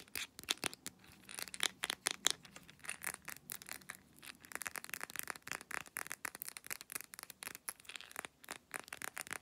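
Long nails rapidly tap and scratch a small brown glass Blackmores pill bottle filled with capsules, moving over its paper label, white plastic screw cap and glass. Dense clusters of quick, dry clicks and scratchy rubs come through bright and high with almost no low end. Each tap dies away instantly, at a quiet overall level.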